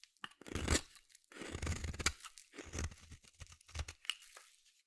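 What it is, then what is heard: Bar soap being shaved. A metal utility blade scrapes and shaves a solid blue bar of soap held in one hand. Several bursts of dry, crunchy scraping carry a low body and a bright, hissy edge, with short quiet gaps between strokes.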